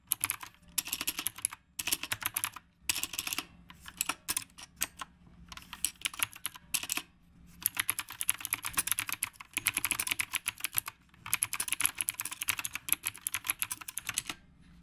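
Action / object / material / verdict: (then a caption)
tap / mechanical keyboard with round plastic keycaps / plastic / none. Both hands type continuously with their fingertips on a black retro typewriter-style mechanical keyboard with round plastic keycaps. Bright, crisp key clicks come in rapid bursts separated by brief pauses, each click short and dry with almost no low end.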